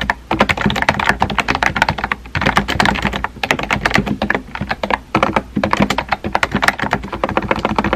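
Fingertips type rapidly on a small pink and white plastic keyboard with round plastic keycaps and a hollow body. A dense run of quick, clacky key taps, each dying away almost instantly, is broken by brief pauses a little after two seconds and again around five seconds.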